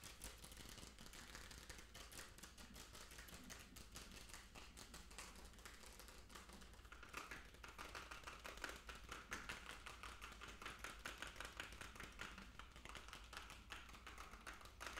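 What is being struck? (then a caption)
Small plastic jar with plastic lid. A small hollow plastic fish food jar with a blue plastic lid, held close to the chest, is tapped quickly with fingertips and nails on the lid and body. The result is a fast, dense run of short, clicky plastic taps over a steady low hum. About halfway through, the taps turn brighter and more hollow, with a ringing tone near 1.5 kHz.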